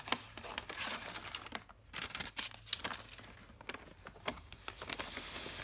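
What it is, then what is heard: Paper shopping bag. Fingertips with painted nails press, rub and crinkle a large, empty brown kraft paper carrier bag with paper handles and a printed Primark logo, lying flat on carpet, then a hand reaches inside and grips the handle. Quiet, bright crackles and crisp rustling come in quick, uneven bursts, each snap dying away almost at once, with a brief lull partway through.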